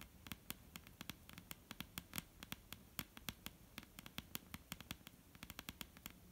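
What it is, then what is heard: Wooden table top tapped with fingernails. A solid, dark brown wooden table top is tapped and lightly scratched with the long painted nails of both hands. Around 39 quick, sharp clicks with bright, crisp tops die away almost instantly, over a soft, continuous scratchy hiss between the taps.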